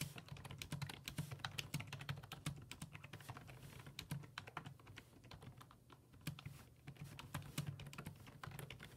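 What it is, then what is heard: Plastic computer keyboard being typed on. Fingertips type on the hollow plastic keys of a black plastic full-size computer keyboard resting on a wooden desk, producing a rapid stream of short, sharp taps with bright clicks. A steady low tone sits beneath the keystrokes. The typing eases off briefly around the sixth second before resuming at a brisk pace.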